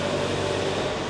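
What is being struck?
Nothing is struck.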